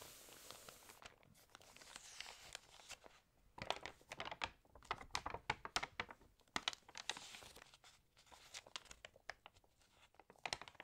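Long nails scratch across the pages of an open glossy, water-damaged paper magazine, and a page corner is crinkled and turned. The result is a quiet, bright run of many sharp, dry crackles and scratchy rustles with almost no low end. The crackles cluster into denser bursts in the middle and near the end.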